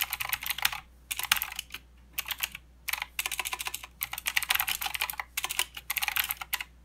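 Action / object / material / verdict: tap / plastic mechanical keyboard / plastic / none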